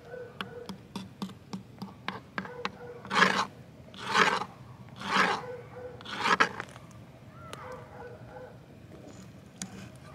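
A thin wooden twig is tapped and dragged over a flat green plastic ground box lid, starting with quick, dry ticks. It then makes four long, bright, scratchy rasps across the surface and along the edge slot. Quieter scattered ticks follow.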